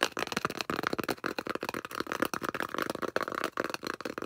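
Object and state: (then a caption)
Styrofoam disc tapped and scratched. Long coffin-shaped acrylic nails rapidly tap and scratch the flat face of a large, solid, thick, round white polystyrene foam disc held in both hands. The result is a dense, crackly run of dry taps and squeaky scrapes, centered in the midrange with little bass. Each sound dies away almost instantly.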